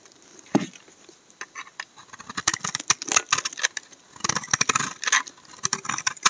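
A steel utility knife blade scrapes curled shavings off the face of a solid dark brown laundry soap bar held in hand. The result is a quick series of dry, bright, crackly scraping strokes with little low end, some louder and longer than others, separated by short quiet gaps.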